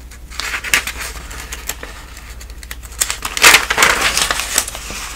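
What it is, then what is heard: Paper phone book pages. A hand with long nails riffles and turns the edges of the thin newsprint listing pages of a thick paper telephone directory. Bright, crisp rustles and crinkles come in irregular flicks over a faint steady low hum, swelling into a louder flurry of page noise about two-thirds of the way through.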